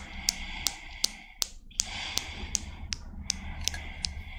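A small chrome steel Newton's cradle with five solid steel balls is set in motion by long black nails, and the balls knock together in sharp, bright metallic clicks. The clicks come at a steady pace over a faint background hiss, twelve hits in all, each very short with almost no ring.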